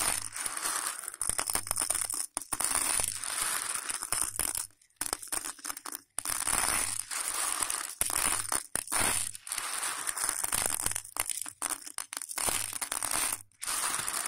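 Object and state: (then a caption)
Dry raw macaroni pasta. Hands rub, squeeze and sift raw, dry hollow elbow macaroni between the fingers on a patterned plate. The result is a dense, bright, crunchy rattle and crinkle of pasta pieces, broken by several brief pauses.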